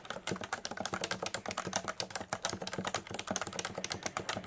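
Fingertips of both hands type steadily on a Leopold FC980C full-size electrostatic capacitive keyboard with a solid body and beige and grey plastic keycaps, resting on a desk mat. About 27 quick, dry keystrokes sound in an even rhythm, each a short muted thock with a bright clack on top that dies away almost instantly.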